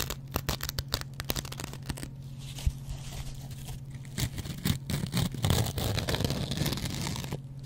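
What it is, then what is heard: Dry sponge scouring pad scratched with razor blade. A metal double-edge razor blade scratches the green abrasive scrub pad of a dry, hand-sized kitchen sponge made of yellow cellulose foam. Quick, irregular scratchy strokes crackle and rasp over a steady low hum, and the scraping grows denser and more continuous toward the end.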